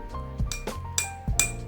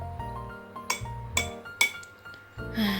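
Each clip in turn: First: drinking glass with water in it. Second: empty drinking glass.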